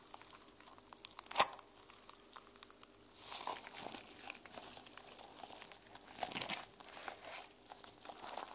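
Long nails scratch across the sequins of a mermaid sequin-covered journal held in the hands. The result is a quiet, bright, crinkly rustle of flipping sequins with small clicks and one sharper tick near the start.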